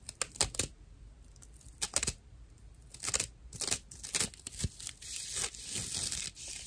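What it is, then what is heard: Dry natural loofah sponge. A dry natural loofah pad, made of fibrous plant material and fitted with a string loop, is scratched with fingernails. Short, rough, crackly scratching bursts come first, followed by denser, more continuous raspy rubbing. The sound is mostly bright and high, with little low end.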